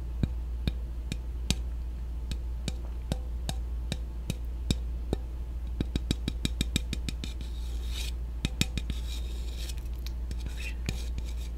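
A black, peach-flavored aluminum soda can is tapped repeatedly with a chopstick. The taps are short and sharp, with no ring, and they come in an irregular rhythm. They are spread sparsely at first, then cluster into a quicker run, over a steady low hum.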